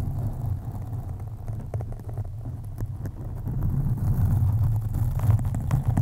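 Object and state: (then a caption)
Foam microphone windscreen being scratched. Long acrylic nails on both hands slowly scratch the soft, porous black foam windscreen of a USB condenser microphone. The result is a deep, muffled rumbling scrape, almost entirely low in pitch, with faint crackles on top. It grows steadily louder after about four seconds.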